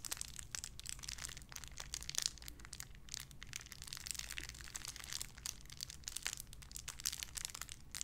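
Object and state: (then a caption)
Clear plastic wrapper being crinkled. A small clear plastic bag wrapped around a small white figurine is crinkled and squeezed between fingertips with long red nails. The result is a dense, bright run of sharp crinkles and crackles with no ring, over a faint steady low hum.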